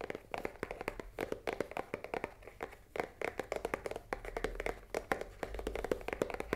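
Long nails tap quickly on the top side of a full cardboard risoni box lying on a table. The result is a dense stream of short, dry clicks with a hollow papery tone around 500 Hz, each dying away almost instantly.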